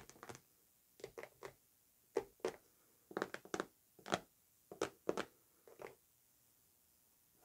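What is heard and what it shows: Long nails tap and scratch the surface of a large, white, closed and hollow Narcotica cardboard perfume box lying flat on fur. About fifteen short, dry, hollow taps land in small clusters, with a light papery scratch on top and quiet pauses between them. Each tap stops almost instantly with no ring.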